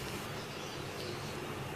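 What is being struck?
Nothing is struck.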